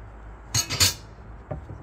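A second, small aluminum piece is tapped, giving a quick cluster of bright, short clinks followed by a couple of fainter ones. The ring dies almost at once, and the sound is this way because the piece is small.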